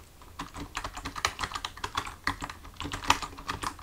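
Fingertips of both hands type on a full-size black plastic computer keyboard resting on a desk. A quick, uneven run of short, crisp key taps sounds out, with a clicky midrange and bright edges. Each tap dies away almost at once, leaving a soft, steady patter.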